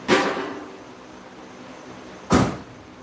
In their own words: It sounds empty, but it's got 3/4 of a tank in it.